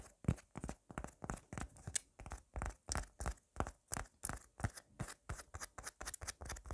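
A red, solid soft-foam squishy tomato toy is scratched and tapped quickly and aggressively with long black nails. About 28 short, uneven strokes come in a fast, irregular run, each a dull, low, muffled thud with a bright scratchy edge. The foam gives a soft crunching texture and the sound dies away almost instantly.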